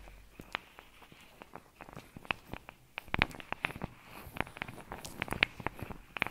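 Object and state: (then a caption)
Rubber massage glove with metal balls. Long nails tap and scratch over a blue soft rubber/silicone face-massage glove studded with small metal balls, worn on one hand and held close to a fluffy microphone. Quick, dry clicks and ticks sound in an uneven patter, some with a bright metallic glint, over faint scratchy rustling.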